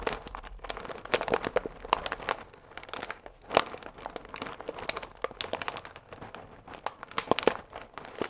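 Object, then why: Paper pasta bag with plastic window. A full paper fusilli pasta bag with a plastic window, held upright, is squeezed and scratched with fingertips and nails. Dense, dry crinkles and crackles come in quick irregular bursts, with sharper, brighter snaps standing out and almost no low end.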